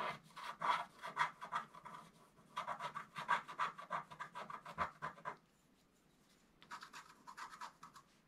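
A thin wooden stylus held in the fingers scratches away the black coating of a flat A4-sized scratch art sheet, black-coated paper over a colored metallic foil base, lying on a table. Quick, dry scratching strokes come in dense bursts centered in the midrange with a bright edge. They stop for about a second near the middle of the clip, then resume more softly.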